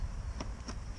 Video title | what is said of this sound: Buck's Lemonade Damper on the Ozpig | a bit of a dull thud when you when you tap on it